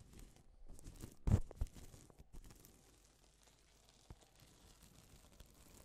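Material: Plastic.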